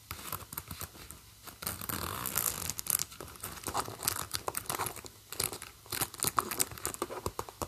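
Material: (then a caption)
Metal. Long painted nails run along, scratch and flick the metal teeth and pulls of a long zipper across the top of a medium leopard-print and black faux-leather handbag. Quick, bright, dry clicks and ticks come in dense bursts, with longer rasping runs where the nails drag along the teeth. Each sound stops almost instantly, with no ring.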